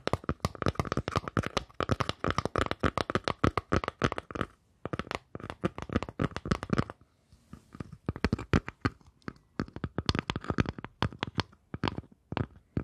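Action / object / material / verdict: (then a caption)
tap / wooden surface / wood / none. Fingers tap rapidly on a wooden surface in a dense series of short, dry knocks with almost no ring. The taps are mostly low and woody, with faint bright clicks. Brief pauses fall around the 4.5-second and 7-second marks.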